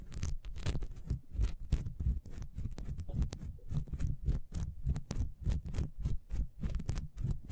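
Long nails scratch quickly over the ridges of a solid, ribbed, beehive-shaped beeswax candle standing upright. The result is a fast, irregular run of dry scratching strokes, mostly low and thick, with short bright ticks flicking through and no ring after each stroke.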